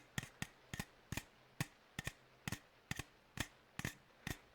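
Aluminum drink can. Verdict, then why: Empty. An empty aluminum energy drink can is tapped in a steady series of light taps, some falling in quick pairs. Each tap is a short, crisp click with a bright metallic tone near 2 kHz and a soft low thump, dying away almost at once.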